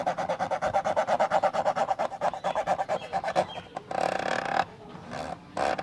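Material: Plastic.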